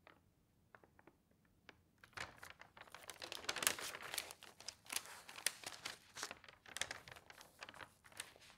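Fingernails and fingertips rub across the sheets of an open newsprint newspaper lying on a table, then lift a page to turn it. A couple of seconds of faint, sparse ticks and scratches give way to louder, bright, crackling rustles and crinkles of the thin paper.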